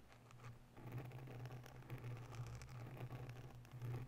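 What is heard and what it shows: Long nails of both hands rapidly scratch the sides of a grey oval foam windscreen on a microphone in a white holder. The result is a dense, continuous scratchy rustle with faint crackles, over a strong low hum around 130 Hz that swells and fades with the rubbing.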